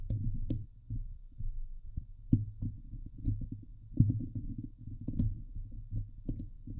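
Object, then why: Metal mesh microphone grille. Fingertips and long nails scratch the sides and top of a Blue Yeti microphone's hollow metal mesh dome grille. The result is a dense, boomy rumble of low scraping and thumping, with short sharper ticks poking through now and then. The sound stays dull and low throughout, with almost nothing bright in it.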